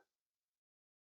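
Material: Nothing is struck.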